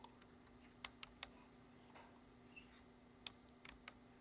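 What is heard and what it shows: Fingertips of a hand wearing a ring type rapidly on the keys of a black plastic computer keyboard, seen in close-up. About ten short, bright, dry key clicks come at an uneven pace, each dying out almost at once. A faint steady hum and a thin high tone sit underneath.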